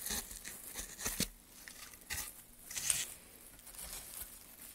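A gouge cuts into a solid, light pine softwood plank with a carved channel, held by a gloved hand. It makes quiet, bright scraping and tearing bursts with a dry, crinkly texture. Each stroke stops quickly with almost no ring.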